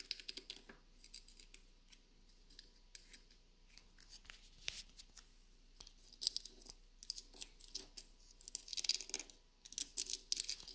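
Long nails tap and scratch the carved lid and sides of a small hollow wooden trinket box resting on a white shelf. The result is quiet, bright, crisp clicks and dry scratches in quick irregular bursts, each dying away almost instantly, with little low end.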